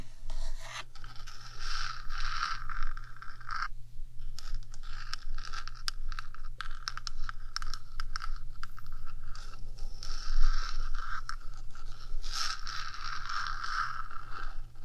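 Long nails scrape and scratch across the top of a 3Dio microphone's small rectangular metal housing, producing continuous rasping scratches with bright hiss. A steady low hum sits underneath throughout, and a brief pause near four seconds breaks the scraping.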